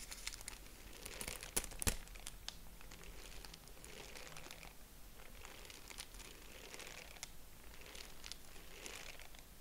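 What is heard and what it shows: A purple tissue-paper honeycomb, folded flat, is stretched open and scrunched with fingers, giving a soft, steady bright crinkling and rustling. A couple of sharper crackles stand out near the two-second mark over a faint low hum.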